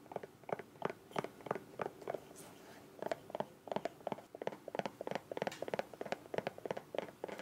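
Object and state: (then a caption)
Soft plastic squeeze bottle, hollow. Long nails tap and scratch the rounded end and sides of a small, hollow green soft plastic squeeze bottle with a white cap. About 29 quick, dry clicks come in uneven bursts, with soft scratching between them and a brief quieter scratchy stretch near the middle. Each tap is short and mid-pitched with almost no ring.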